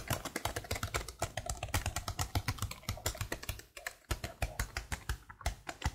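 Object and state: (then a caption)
Plastic laptop keyboard being typed on. Long blue nails type continuously on the letter keys of a black plastic laptop keyboard. The result is a rapid, steady stream of short, dry clicks, each with a low thump and a bright tick, pausing only briefly just before the four-second mark.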